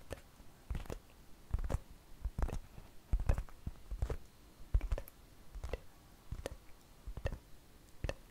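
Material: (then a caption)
Flour dough. A large, thin flour tortilla is held up and tapped and scratched with long fingernails. Quiet, irregular soft taps and dry crinkly clicks come in short clusters, each with a dull low thump and a bright papery crackle that dies away quickly.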